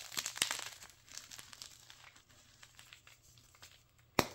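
A white gym chalk block of magnesium carbonate, solid, dry and brittle, is snapped and its chunks are crushed between bare fingers above a pile of powder. Dense, bright, crumbly crackling is loudest at the start, then thins into quieter scattered crunches. A single sharp, dry snap comes near the end.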